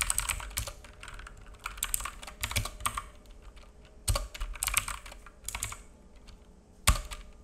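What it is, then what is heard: Plastic mechanical keyboard. Fingertips of both hands type on a black full-size mechanical keyboard with plastic keycaps and a hollow case, resting on a wooden desk. Irregular bursts of quick, clacky key taps pair bright clicks with low, hollow thuds, with short pauses between runs and one sharper tap near the end. Each tap dies away almost instantly.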